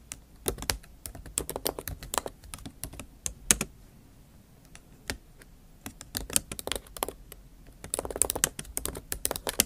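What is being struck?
Plastic laptop keys in an aluminium body.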